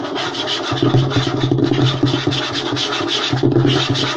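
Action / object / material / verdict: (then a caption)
scrape / light wooden tabletop / wood / none. Fingertips and short nails rub and scratch quickly across a flat, light wooden tabletop. The result is a dense, continuous scratchy rasp with a bright hiss, over a steady low woody hum that swells and dips with each stroke.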